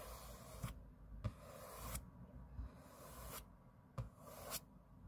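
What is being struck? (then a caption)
Aluminium laptop lid. Fingernails scratch the aluminium lid of a closed space-grey MacBook lying flat on a table with quick strokes. Each stroke makes a bright, airy scraping hiss that alternates with short quiet gaps, and a low, soft rumble with small thumps sits under the whole clip.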